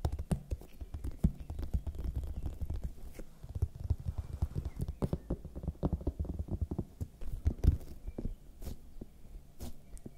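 A large, whole, hollow red bell pepper with smooth, waxy skin is held in one hand close to the microphones while fingertips and nails tap and scratch its surface. The result is a quiet, dense stream of dull, low, hollow thumps with faint scratchy, bright clicks in between. Each tap dies away almost at once.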